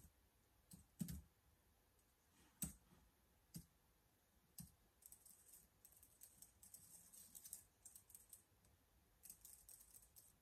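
Fingertips type slowly on the keys of a black plastic laptop keyboard. A few soft, separated key presses with low thumps give way to a denser run of quiet, bright plastic clicks, each dying away almost instantly.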